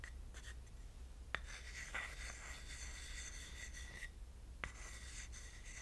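A thin wooden stick scrapes and rubs inside an empty, small, shallow carved wooden dish shaped like a pineapple. The result is a quiet, bright, raspy scratching with a steady squeaky tone around 1.9 kHz, broken by a few sharp taps, over a low background hum.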